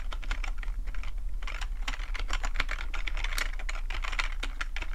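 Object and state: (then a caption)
Plastic computer keyboard being typed on. Fingertips of both hands type fast on a black plastic full-size computer keyboard with a hollow housing, resting on a fluffy rug. A dense, continuous stream of short, bright key clicks plays over a steady low hum.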